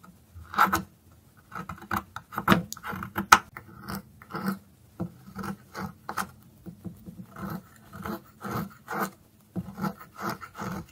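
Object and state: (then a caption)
Dry soap stick scraped with a blade. A metal blade scrapes the tip of a narrow, solid orange dry soap stick, held upright and then sideways over a pile of shavings. Short, dry, raspy scraping strokes come in irregular bursts with a mid-pitched whirring tone and brief, bright edges.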